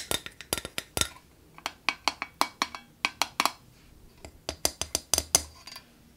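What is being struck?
Metal wire cage lamp.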